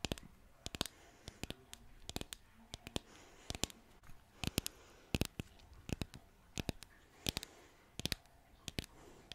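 Long nails tap and scratch across a flat, solid green painted wooden bottle sign, making a rapid, irregular series of about 35 sharp, dry clicks. Each tap is bright and stops almost instantly, separated by soft scratching against a quiet background.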